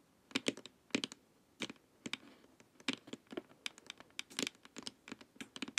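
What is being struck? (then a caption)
Hollow plastic face mask. Long nails tap the sides and top of a glossy, hollow plastic LED face mask. The result is quick, bright, clicky taps in irregular bursts, each one dry and gone almost instantly, with little low end.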